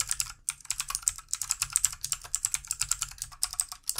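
Very fast fingertip typing with both hands on a full-size backlit plastic mechanical computer keyboard with plastic keycaps. About 34 crisp, bright key clicks clatter in a rapid, uneven stream with almost no low end, after a brief pause near the start. Each click dies away almost instantly.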